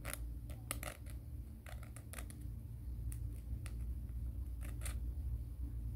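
Fingernails are filed against the grit of a black emery board nail file held upright in the other hand, making short, quick, irregular rasping strokes with bright high hiss. The strokes sit over a steady low hum.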